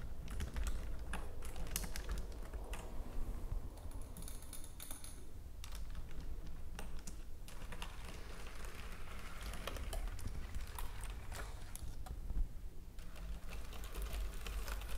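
Fingers with long nails type and tap steadily on a white plastic computer keyboard, producing a continuous stream of quick, sharp, bright clicks and clacks. A low, steady hum sits underneath the quiet tapping throughout.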